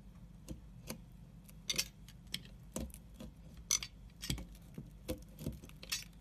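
A pointed scoring tool cuts parallel and cross grooves into the face of a solid dark brown soap bar, making eleven short, bright scratching clicks over a faint low hum. Each scrape is crisp and dies away almost at once.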